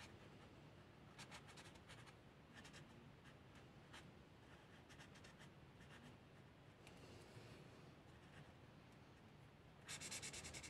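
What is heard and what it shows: A felt-tip marker with blue ink rubs over a flat paper coloring book page of cats lying on a table, in short coloring strokes. Soft, bright scratchy bursts repeat at an uneven pace over a low, quiet hum. The strokes grow louder and denser near the end.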